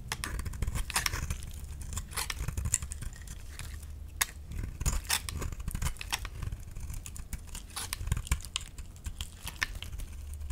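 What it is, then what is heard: Bar soap being shaved. A utility knife scrapes and shaves a solid pink oval bar of soap, peeling off thick curls. Rapid, crisp scraping and crackling strokes with bright, sharp edges repeat steadily over a low, constant rumble.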